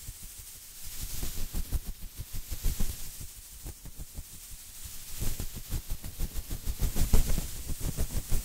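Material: Nothing is struck.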